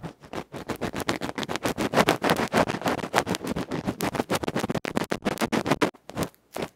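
A bamboo ear pick scratches the felt face of a small electret microphone capsule, a metal can with a felt cover, held in the fingers close up. About 39 rapid, irregular scratching strokes come through as loud, dry, rasping bursts centered in the midrange, each cutting off almost instantly with little low end.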